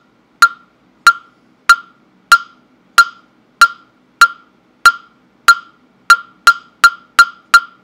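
A hand-held, round, hollow carved wooden mokugyo fish block with a slot opening, about fist-to-head sized and held near a microphone, is struck with a small round-headed mallet. It makes 14 sharp, dry knocks with a clear hollow tone around 1.4 kHz and a bright click that dies away almost instantly. The knocks come at a steady pace at first, then quicken toward the end.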